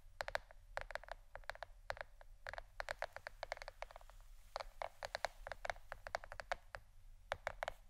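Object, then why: Plastic shirt-shaped board. A plastic board shaped like a shirt is tapped with the fingernails in a rapid, irregular run of dozens of short, clicky taps. Each tap is dry and dies almost instantly, with a light hollow tone around 670 Hz and a faint bright edge. A low steady hum sits underneath throughout.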